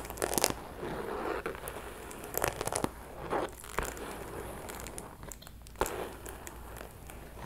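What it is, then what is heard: Faux leather purse scratched and tapped with nails. A small, closed, hollow pink metallic faux leather purse is scratched and tapped with long metallic nails. Soft crinkly scratching runs throughout, broken by short, sharp taps and crackles that die away almost instantly. The sound is dry and close, centered in the mids.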